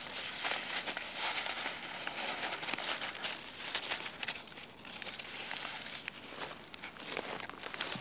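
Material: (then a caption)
Leaves. Both hands squeeze and crinkle dry, papery chestnut leaves on a branch with their fingertips. A steady, quiet, bright crackling and rustling runs through the whole clip, with small sharper crisp bursts and almost no low end.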